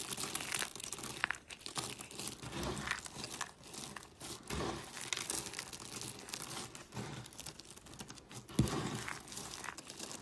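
Fingertips with long pink nails grab and squeeze handfuls of small, dry, brittle pink, blue and white soap shavings piled on a white surface beside a flat blue soap disc, crushing and crumbling them. The result is a continuous, dense crackling and crinkling crunch with bright, gritty detail, rising and falling in waves, with a sharper, louder crunch near the end.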